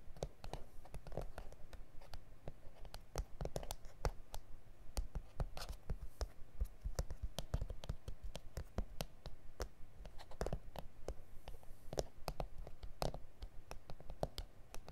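Fingernails tap and scratch the surface of a flat, solid A4 self-healing plastic cutting mat with grid lines. Many quick, dry clicks come at an uneven pace, about two per second, mixed with soft scratching. Each tap is short and dead, with no ring.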